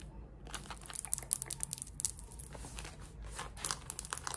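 Long red nails scratch the waistband and front fabric of worn, light-wash cotton denim shorts. The result is a steady run of dry, crinkly scratching with sharp, bright rasping bursts over a faint low rumble.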